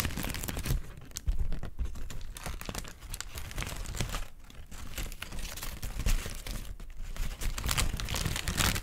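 A thin, white, wrinkled paper sheet is scratched with long nails and crinkled between hands. Dense, continuous crackling and rustling bursts run throughout, with brief dips between handfuls.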